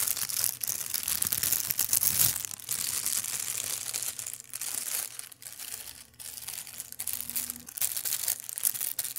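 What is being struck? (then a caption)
Thin plastic bag. An empty, long, thin, translucent clear plastic bag is crumpled and rubbed with fingers. It makes a steady stream of bright, crackling crinkles in uneven bursts, with a few brief pauses and almost nothing in the low end.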